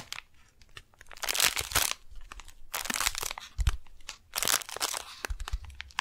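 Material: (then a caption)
Kraft paper. Long painted nails tap and scratch the surface of a flat brown kraft paper package, held upright in both hands, with a window showing a pink floral beeswax wrap inside. Quick dry taps mix with bright, papery crinkling and crunching bursts around 1.3, 3 and 4.5 seconds, plus a few dull low thumps, with quiet gaps between.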